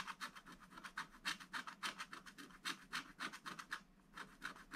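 A wooden stylus scratches short strokes across a thin, black-coated scratch-art book page lying on a table. Quick, uneven bursts of dry, bright scraping repeat at about three or four per second, with a brief pause near the four-second mark before the strokes resume.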